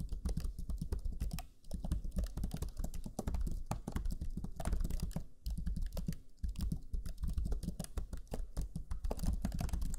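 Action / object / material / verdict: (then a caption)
tap / plastic laptop chiclet keyboard / plastic / none. Fingertips of both hands type rapidly on the black chiclet keyboard of a Lenovo Legion 5 laptop, pressing its low-profile plastic keys. The result is a dense stream of short, dull, low-heavy taps with brief pauses near 1.6 and 6.3 seconds.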